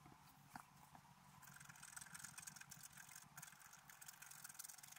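A wooden stylus scrapes a flat, black-coated scratch-art card at the antler of the picture, making a quiet, continuous dry scratching. Short rasping strokes carry a bright hiss over a faint low hum.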